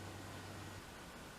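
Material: Nothing is struck.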